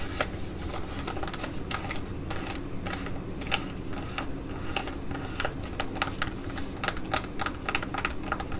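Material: Plastic foil.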